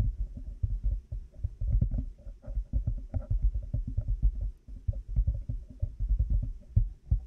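Fingertips and nails tap rapidly and irregularly on a black plastic headphone headband with cat-ear pieces mounted on a binaural mic. The result is a dense stream of soft, muffled, low thumps around 105 Hz, each dying away almost instantly, with only a faint hollow knock above them.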